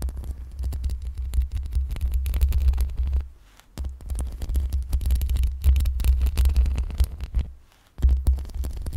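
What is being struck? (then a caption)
Metal mesh microphone grille. Long pink acrylic nails slowly and gently scratch the metal mesh grille of a black USB microphone. The result is a dense, crackly scraping over a heavy low rumble near 59 Hz, with two brief near-silent pauses before the scratching resumes.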